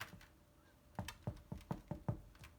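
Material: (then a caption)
Bread. A loaf of plant-based Irish soda bread, just taken out of the oven, is tapped to check whether it is cooked. A series of short, dull, low-pitched thumps with almost no ring sounds hollow, showing the bread is baked through and done.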